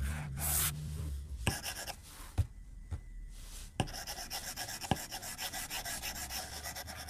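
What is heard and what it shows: A white plastic stylus tip strokes and taps across the glass screen of a tablet lying flat on a desk. Soft, bright scratchy strokes are broken by a few sharp, dry taps, then settle into a steady rhythm of quick rubbing strokes.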